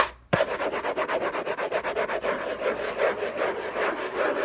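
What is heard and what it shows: Fingernails scratch the textured paper lid of a hollow orange Hermès cardboard box. After a brief silence, a sharp onset leads into fast, uneven rasping strokes with a steady hollow midrange tone and a bright, papery hiss. The scratching keeps going without a break until the clip ends.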